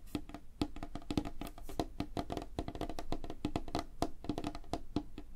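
Fingertips and nails of both hands, held close together, tap rapidly on a flat, solid, light-colored wooden tabletop. The result is a fast, steady flurry of short, dry, woody knocks with a hollow mid tone around 300 Hz. Each tap dies away almost instantly.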